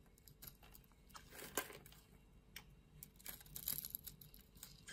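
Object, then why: Bar of soap scraped with a metal blade. A metal utility blade scrapes the scored surface off a solid lilac bar of soap held in the palm, shaving it away in strips and powder. Soft, dry, crinkly scraping strokes come in irregular bursts over a quiet background, with bright edges and very little ring.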